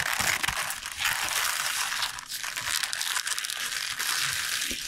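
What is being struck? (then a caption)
Bunch of lacinato kale leaves. A bunch of fresh lacinato kale leaves, tied with a purple band and lying on a board, is squeezed, crinkled and pressed with the fingers. The result is a steady, bright, crisp crinkling and crunching rustle with little low end, rising and falling slightly throughout.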